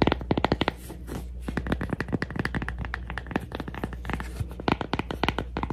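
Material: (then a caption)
Cork. A cork coaster is tapped and scratched for ASMR, producing a rapid, irregular string of short, dry taps and scratchy strokes that stop almost instantly with no ring. A steady low hum sits underneath throughout.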